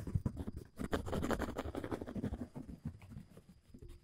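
Fingertips scratch and crumple the surface of a large, thin, dark blue woven polyethylene tent groundsheet. The result is a quiet, irregular stream of dry, rapid scratches and crinkles, about four per second, weighted toward low frequencies with very short decays.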